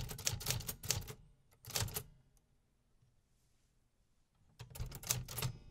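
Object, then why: Metal-bodied mechanical typewriter. Fingertips type on the keys of a hollow, metal-bodied 1950s vintage typewriter, sending its typebars striking in quick runs. The sharp mechanical clacks are bright and crisp over a hollow, low body resonance, and they come in bursts at the start and end with a short burst and a long quiet pause in between.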